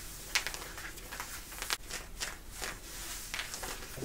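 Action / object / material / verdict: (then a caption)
scrape / denim jeans, woven cotton / cotton denim / none. Long nails scratch the thick woven cotton of worn light-blue denim jeans around the side and back pocket area. The result is a quiet series of bright, dry scratching strokes with a rough, raspy texture and almost no ring after each stroke.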